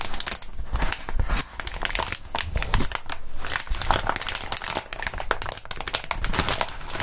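Gloved hands squeeze and crinkle crumpled clear plastic bubble wrap with small air bubbles. The result is a steady, dense crinkling broken by many sharp, bright crackles and snaps over a low rustle.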